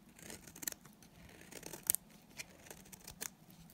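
A solid, dry white bar of soap held in the hand is shaved with a utility knife blade. The result is quiet, bright, crisp scraping strokes at an irregular pace, with a few sharper peaks standing out.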